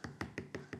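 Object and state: Dry-aged beef rib, dry.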